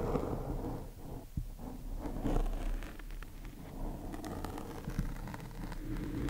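A black foam microphone windscreen is scratched and tapped with two thin wooden chopsticks. The result is a steady, muffled, low-heavy scraping and rustling. Soft crackly taps stand out here and there.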